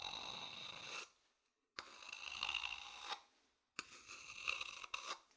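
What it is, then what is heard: Wooden bowl scratched with a stick. A thin wooden stick scratches the outer surface of a hollow, empty turned wooden bowl held in one hand. Three separate bursts of dry, bright scraping come with short silent gaps between them, with a tonal ring around 2.7 kHz running through the rasp. Each stroke stops cleanly with almost no lingering resonance.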